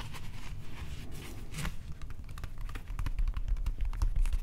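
Fingernails and fingertips scratch along the cord-wrap texture of a molded plastic replica prop axe handle, making a crinkly, irregular scratching. Quick bright scrapes sit over a steady low rumble, growing slightly louder toward the end.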